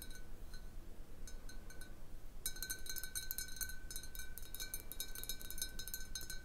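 Long painted nails tap and scratch a large, hollow, clear glass bottle that stands mostly empty, with a little water at the bottom, on a wooden table. Sparse, bright glassy clinks with a faint ringing tone give way after a couple of seconds to quick, dense tapping over a low background rumble.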